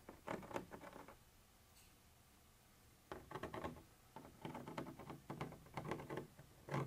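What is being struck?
Textured plastic surface scraped with a thin metal pointer.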